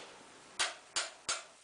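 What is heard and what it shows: A steel spoke on an RM 125 motorcycle wheel is tapped three times with a wrench. Each tap gives a short, bright click with no low end that dies away quickly rather than ringing. The dull sound marks it as a dead, loose spoke that needs tightening.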